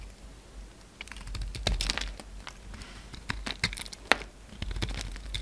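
A utility knife blade carves thin curls off the surface of a solid orange soap bar with blue edges, cutting and scraping it. Crisp, dry, bright scraping and crackling strokes come in quick bursts, with a few sharper clicks among them over a low, steady background hum.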